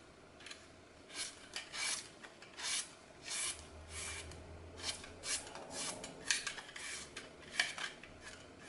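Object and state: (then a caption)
Floral foam being sliced and scraped. A small blade cuts and scrapes crisp slices off the remaining small, solid piece of a glitter-coated green floral foam block held in fingers over a glass bowl. Short, bright, dry rasping scrapes come in quick bursts with almost no low end and no ring, as crunchy slices shave away.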